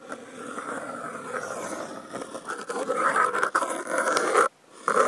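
Wooden toothpick tips slowly scratch a brown corrugated cardboard panel, picked up by contact mics clipped to its edge. A dry, raspy scraping in the midrange builds from soft to louder, breaks for a brief silence near the end, then resumes.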